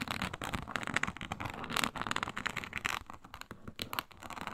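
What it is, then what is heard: Faux snakeskin leather mat. Long pointed nails scratch quickly across a flat, iridescent faux snakeskin mat of embossed reptile-pattern synthetic leather. The result is a dense run of dry, crackling scrapes with bright, papery texture and very little low end. The strokes come in uneven bursts that swell and fade.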